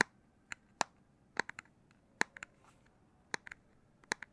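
Fingers tap on the plastic back casing of a Nintendo Switch Lite handheld game console. Short, dry, clicky taps land in irregular single, double and triple bursts, each with a bright, crisp attack, a mid-high tone and no ring. The taps sound against a quiet, faint background hiss.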